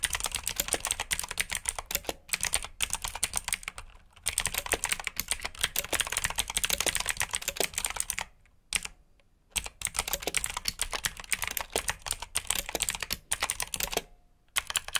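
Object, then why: Plastic mechanical keyboard. Fast typing on a black plastic RGB mechanical keyboard with blue switches, both hands striking the keys with fingertips. Dense, bright, crisp clicks rattle along in quick bursts, broken by a few brief pauses before the typing resumes.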